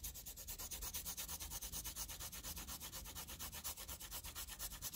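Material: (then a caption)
Paper. A green wooden pencil scribbles with rubbing strokes over a dense graphite-shaded area on a flat sheet of graph paper. Quick back-and-forth strokes, about two per second, make a bright, scratchy hiss that pulses steadily with each pass over a faint low rumble.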